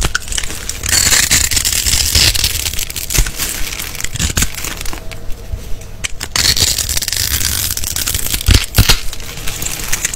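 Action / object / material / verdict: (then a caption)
scrape / bar of soap / soap / none. A small green-handled blade scores and scrapes a solid, palm-size, rectangular green-and-white striped bar of soap held in the hand, and cubes crumble off. The sound is a steady, bright, crackly scraping and crumbling, broken by a few sharper, louder cracks as pieces break away.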